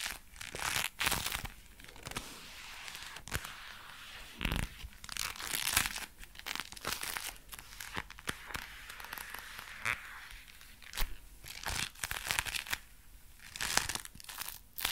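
Dark brown leather gloves worn on both hands are rubbed together while the fingers flex. The leather gives a steady stream of soft, bright crinkling and creaking with scattered sharper crackles, each dying away almost at once.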